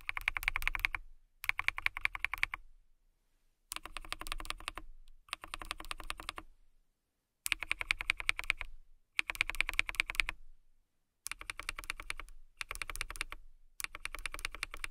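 Typing on a KiiBOOM Phantom 81 transparent acrylic mechanical keyboard, with a hollow clear acrylic case and clear plastic keycaps, as long manicured nails and fingertips press the keys. Rapid bright, crisp clacks come in short bursts separated by brief silent pauses, each keystroke dying away almost instantly.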